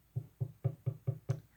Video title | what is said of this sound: Ghost story Part 2 | that's me knocking on it or hitting it with my finger